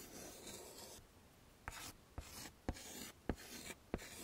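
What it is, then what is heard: Chalk drawing on a chalkboard. A hand draws curly hair with white chalk on a flat dark chalkboard in a wooden frame, making short scraping strokes. A soft, bright rasping scrape runs throughout, broken by five sharper taps as the chalk meets the board.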